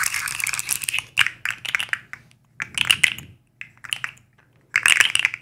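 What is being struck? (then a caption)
Segmented plastic fidget slug toy. A black and white striped plastic fidget slug with hollow segments is flexed and tapped with long acrylic nails, its segments clicking against each other. Bursts of bright, crisp clicks and crinkly crackles come in quick clusters separated by short silences, each click dying away almost instantly.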